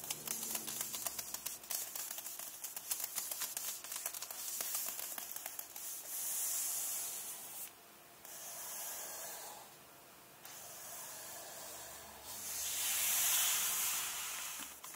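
Fingernails scratch and fingertips rub the glossy card back cover of a closed paperback book lying cover-up. Quick, bright scratching strokes fill the first several seconds, then give way to smoother, swelling hiss-like rubbing passes with brief quiet gaps between them.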